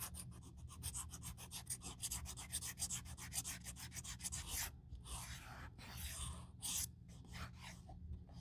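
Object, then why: Leather handbag edge rubbed with sandpaper. A small folded strip of sandpaper, pinched in the fingers, is rubbed back and forth along the edge of a black leather YSL handbag flap near its metal clasp. Quick, rhythmic, bright scratchy rasps come first, then give way to a few longer, slower sanding strokes, with a steady low hum underneath.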